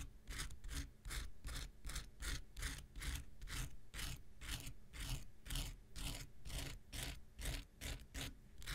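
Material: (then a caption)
Foam. A small, solid, rectangular pink foam nail buffer block is scratched and scraped with an X-Acto knife. About twenty quick, bright, rasping strokes follow one another at an uneven pace over a low rumble, each cutting off almost at once.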